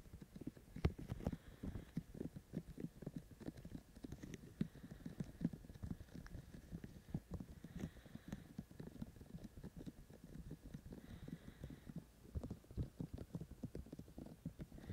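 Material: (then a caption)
Silicone. Fingertips of both hands tap rapidly on the white silicone ear shells of a binaural microphone. The result is a dense, continuous patter of soft, muffled low thuds, with almost no ring after each tap.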